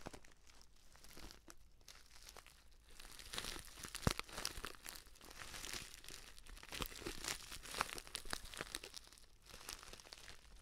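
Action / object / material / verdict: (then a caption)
scrape / paper stand-up pouch / paper / none. A filled, orange-printed stand-up paper tea pouch is gripped with both hands while fingernails tap and scratch its lower part. The result is a soft, continuous bright crinkling and scratching, broken by sharp, short taps, with a few louder clicks standing out around the 4 and 8 second marks.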